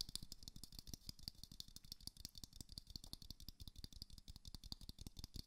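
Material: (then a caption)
Plastic. A small glowing moon lamp, a hollow plastic sphere, is held in one hand and tapped quickly with the fingertips and nails of the other hand. A steady stream of dry, rattling taps fills the clip, each a short hollow thump with a bright clicky tick on top that dies away almost instantly.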